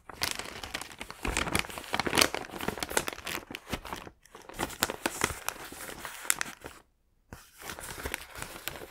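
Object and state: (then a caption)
Paper bag being crinkled. A small, empty, thin brown kraft paper bag lying on a wooden table is folded, pressed and crinkled along its top edge by fingertips. Dense, bright paper crinkling and crackling runs throughout, with a short dip near the middle and a brief silence before the rustling resumes.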